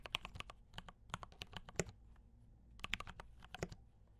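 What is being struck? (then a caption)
Mechanical keyboard with plastic keycaps. Fingertips type steadily on a compact mechanical keyboard with brown switches and cream and red plastic keycaps. Quick, bright clicky keystrokes with short low thock come in two bursts, separated by a pause of about a second. Each keypress dies away almost instantly.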